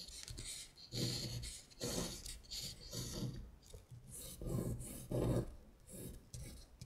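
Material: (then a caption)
Paper. A long acrylic nail traces the handwritten words "WINTER BEAR" on a thin printed paper sheet that has been shifted on a table, scratching the paper. Raspy, bright scratching strokes come in repeated bursts with a low rubbing undertone and short pauses between them.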